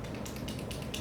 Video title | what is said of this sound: May 2016 Beauty Favorites and Regrets: Givenchy, Tarte, Becca, Origins and More.... | you can hear it how you have to really shake it to make it work so that the oil mixes